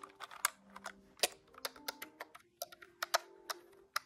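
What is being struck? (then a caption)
Plastic calculator keys. Fingertips tap the plastic keys of a large grey-white plastic desktop calculator held tilted, giving about fifteen short, bright clacks in an uneven rhythm. Each click is sharp and dies away almost instantly, with quiet gaps between presses.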